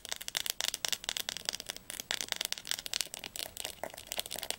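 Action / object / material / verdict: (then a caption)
tap / hardcover book spine / bookboard / none. Long nails tap fast on the glossy spine of a blue Diercke Weltatlas, a large hardcover school atlas held upright. A rapid run of crisp, bright clicks with almost no low end dies away instantly, with a sharp tone near 2.9 kHz. The solid book gives short, dry taps.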